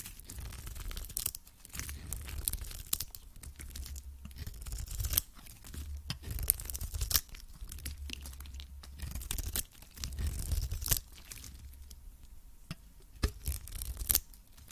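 A hand-held cream-coloured solid soap cube with a dark varnished side is scraped and cut by a metal utility blade, peeling off curling shavings. The scraping comes in rough, crunchy tearing passes with a low rumble underneath, broken by short sharp bright clicks as the blade bites and lifts off.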